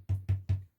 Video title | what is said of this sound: Wharfedale Melton 2 - One off build Part 3 | it's got a kind of hollow sound to it when you tap on the cone